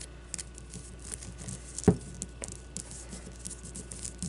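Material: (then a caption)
Leather. Long blue-painted nails scratch and tap a solid leather baseball with red stitching. Quiet, dry scratching and light clicking run throughout, with one louder, dull low tap partway through. Each sound dies almost instantly, leaving a faint low hum underneath.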